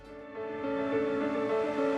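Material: Nothing is struck.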